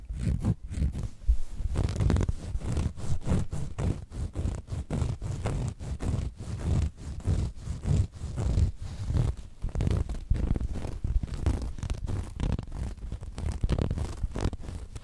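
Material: Cotton canvas.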